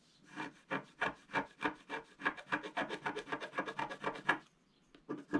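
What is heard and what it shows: A wooden stylus scrapes back and forth across a large gold area of a flat, black-coated scratch-art card. About twenty quick, dry, rasping strokes follow one another at an uneven pace, then pause briefly before a final few scrapes.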